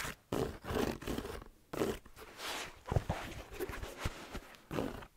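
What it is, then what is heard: Suede slipper shoe with rubber sole. Fingers rub and scratch the suede upper and rubber sole of an empty, hollow black plaid-trimmed slipper shoe held in one hand. Soft, gritty rasping swells in uneven bursts, broken by a few short, dull knocks from the hollow shoe.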